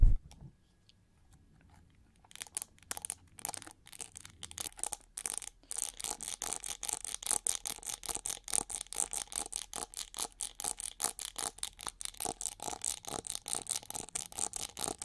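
Long nails scratch and tap the ridged, hollow back and handle of a winged, gold chrome-plated plastic hair brush held upright. After about two seconds of near silence, a fast, steady stream of dry, bright scratching strokes and light taps begins, each dying away almost at once. A faint low hum runs underneath.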